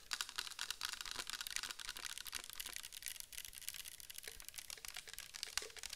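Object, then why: Clear plastic bottle filled with liquid. Long nails tap quickly on the sides and bottom of a clear plastic bottle filled with orange liquid. The taps come in a fast, uneven stream of sharp, dry, bright clicks with almost no ring, like rapid typing, and a few duller knocks sit lower.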